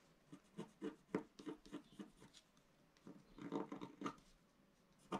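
A pointed wooden stylus held in the fingers scratches a flat, A4-sized black-coated scratch-art sheet over rainbow foil lying on a table. The result is a quiet series of short, dry scratching strokes with a gritty, mid-pitched rasp, coming in quick bursts with brief pauses.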